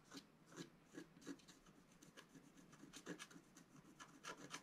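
A wooden stylus held upright scratches the black coating of a flat scratch-art paper card. Short, dry, rasping strokes repeat in quick succession, each a bright, brief scrape with little ring. The scratching stays quiet and steady, growing slightly busier toward the end.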